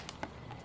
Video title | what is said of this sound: T10 Arashi Nobunaga | ไม่หลวมไม่มีเสียงครับเขย่าก็ไม่มีเสียงนะครับ